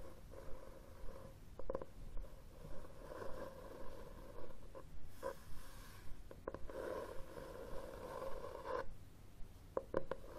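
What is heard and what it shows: Fingernails scratch and tap the cover of a red, textured cloth hardcover book held upright on a table. Quiet, rhythmic scratching strokes carry a soft hum around 535 Hz. Short, dry taps break in between them and fade almost at once.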